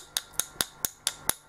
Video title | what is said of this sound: Tin your tip 24 - 06 | if i tap it with a with a metal object you will hear the difference so very hollow